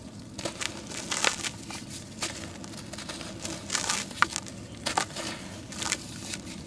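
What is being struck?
Sand-cement chunk.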